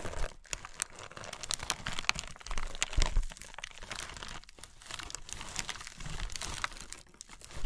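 A crumpled sheet of thin tissue paper lying over a box is scratched, tapped and rubbed by long nails and fingertips. The result is a dense run of dry crinkling with sharp little crackles and soft taps.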